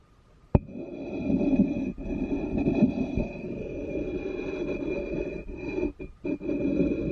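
The bowl of a wooden spoon taps the base of an upside-down black ceramic bowl with an unglazed foot ring, then scrapes across it. A sharp knock gives way to a continuous, gritty, low-mid rubbing that swells and fades, with brief pauses near the end.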